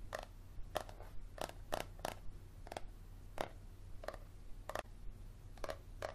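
Fingernails tap and scratch along the spine of a yellow paperback book held at an angle, making repeated short, dry taps with a midrange knock and brief scratchy rasps at an irregular pace. A steady low hum sits underneath throughout.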